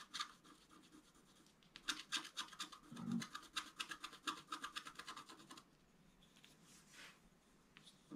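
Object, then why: Scratch-art card, wax-like coating over foil, scratched with a wooden stylus. A wooden stylus scratches long strokes over the basin area of a flat scratch-art card, a black coating over colored foil, resting on a table. Quiet, dry, bright scratching rasps repeat in quick, uneven strokes. After about five and a half seconds they fade to softer, sparser scrapes.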